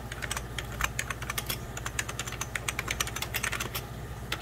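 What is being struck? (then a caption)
Plastic computer keyboard. Fingertips of both hands type on a hollow, beige 1990s Packard Bell plastic computer keyboard, producing a quick, uneven run of bright, short plastic key taps. The clicks are sharp with almost no ring, over a steady low hum.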